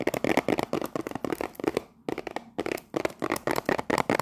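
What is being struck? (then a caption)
Cellophane-wrapped cardboard tea box. Long nails quickly tap the top and sides of a cellophane-wrapped cardboard tea box, giving 18 sharp, dry clicks with a crinkly, bright edge and almost no ring. The taps come in fast runs with a brief pause in the middle before resuming.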